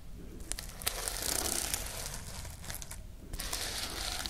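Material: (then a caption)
Plastic sequins. Long nails scratch and flip the plastic sequins on the fabric cover of a sequin-covered notebook held close to the microphones. A dense, bright, crinkly scratching runs throughout, broken by sharp clicky flicks, with a brief softer dip before the rustling picks back up.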